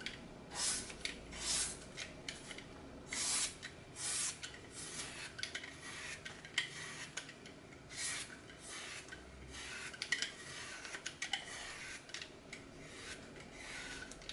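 A glitter-coated green floral foam block, getting smaller, has its side sliced and scraped with a red-handled blade over a glass bowl. The result is a steady run of crunchy, bright rasping scrapes, with occasional louder bursts.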